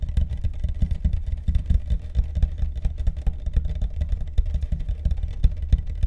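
Fast tapping on the deck of a carbon fiber longboard makes a dense, rapid run of short, dry, low thuds. The taps are mostly deep in tone with little brightness, and each dies away almost at once.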